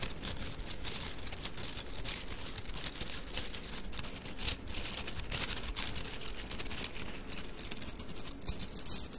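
A handful of thin painted wooden mikado sticks is held horizontally in both hands above the mic, and the sticks are rolled and rubbed against each other with the fingers. A dense, steady stream of quiet clicking and rattling continues throughout, with bright, crisp crackle over a soft low rumble.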